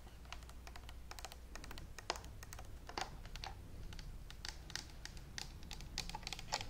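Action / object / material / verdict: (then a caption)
tap / plastic steam iron / plastic / none. Long manicured nails tap and scratch a hollow, handheld green and white plastic Philips clothes steam iron. Rapid, light, dry clicks with a bright edge come in quick uneven bursts, each dying almost instantly, over a faint steady low hum.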